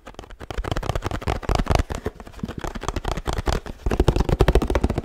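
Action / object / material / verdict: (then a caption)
tap / laminated paperboard drink carton / paperboard / none. A 1-litre laminated paperboard oat milk carton, held on its side, is tapped and scratched with fingertips and nails. The result is a fast, dense run of short, dull, low thumps with scratchy texture between them, getting a little louder toward the end.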